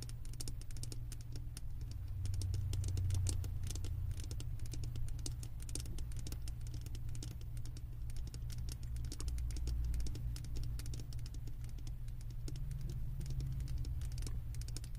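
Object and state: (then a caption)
Glass candle jar base tapped and scratched with nails. Long acrylic nails tap and scratch the glass base of a large wax-filled glass jar held tilted. Rapid, irregular, bright clicking taps and scrapes run throughout over a steady low hum.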